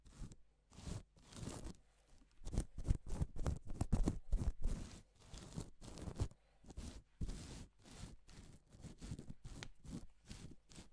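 Gloved hands brush across reversible plastic sequin fabric, flipping large areas of sequins over to pink. Each stroke makes a short, scratchy rustling swish, with strokes coming in quick, uneven bursts and the heaviest energy in the low end.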